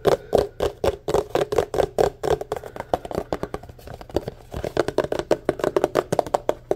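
Fingertips and nails rapidly tap and scratch the sides of a tall, white, empty, hollow paper cup held in the hand. The result is a fast, steady stream of short, dry, hollow knocks with a mid-range tone, each dying away almost instantly, mixed with faint scratching.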